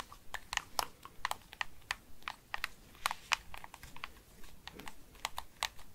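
A hollow, handheld-size white-and-black plastic PS5-style gamepad is held in both hands while fingertips and nails press and tap its buttons and sticks. About twenty quick, bright, clicky taps follow in an irregular, typing-like rhythm, each stopping almost instantly over a faint low background.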